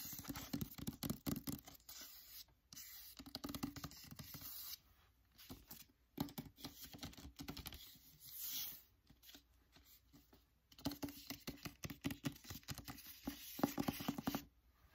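Fingers and nails tap a "Secret Letters" hardcover book with a paper dust jacket, moving from the back cover to the front and then the top edge. Quick, dry, irregular taps with a low papery thud and light scratchy rustle come in dense bursts, separated by a few quieter stretches, and each tap dies away almost at once.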